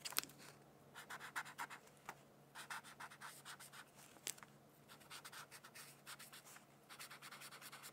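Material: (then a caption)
Paper. A black-barrel brush-tip pen colors a thin paper coloring sheet resting on a hardcover textbook in slow, scratchy strokes. Bursts of soft, bright scratching rise and fall in quick rhythmic groups, with a few sharper ticks as the tip meets the paper. The scratching stays quiet and close.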